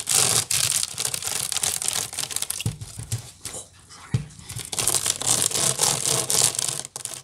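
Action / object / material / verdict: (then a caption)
scrape / woven wicker basket / wicker / none. Long nails scratch quickly with both hands across the woven strands of a large, hollow wicker basket. The result is a dense, bright, rasping scrape in rapid strokes, with soft low knocks from the hollow body. The scratching eases briefly around the middle before building back up to full intensity.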